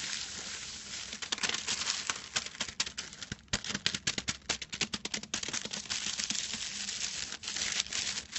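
Fingertips scrunch and scratch the crinkled surface of a silver metallic foil sheet lying flat. A bright, dry crinkling hiss runs throughout, broken by dense, rapid sharp crackles that peak in the middle of the clip. There is almost no low end and no ring after each crackle.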